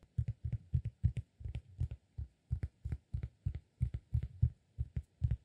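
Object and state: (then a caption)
Cork disk. A round, flat, solid cork disk about the size of a palm is held in one hand and tapped and scratched on its surface and edge with fingertips and nails. It gives a quick, steady run of soft, dull, low thumps that stop dead, each with a faint bright scratchy tick on top.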